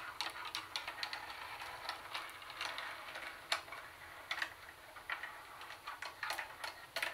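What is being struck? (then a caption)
Plastic boombox handle and lid. Long nails tap and scratch the hollow plastic carry handle and lid of a Sony CD cassette boombox. The result is a quick, uneven run of sharp, dry clicks over a soft scratchy hiss. Each tick is bright, centered around 2.3 kHz, and dies away almost at once.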